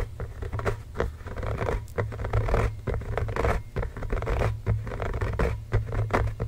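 Both hands tap and scratch with fingertips and short nails on the pebbled rubber surface of a full-size, inflated, hollow Spalding Fast Break basketball resting on a blanket next to the microphone. The result is a steady, close stream of soft scratching and quick taps with a dull, low, hollow thump and very little bright content.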